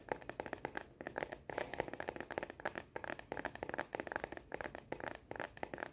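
Long nails tap quickly on the back of a star-print translucent plastic case on a smartphone, held upright in both hands. The result is a fast, dense run of short, dry plastic clicks with a mid tone near 500 Hz and no ring. The clicks stay quiet and even, with slight scratchy edges between them.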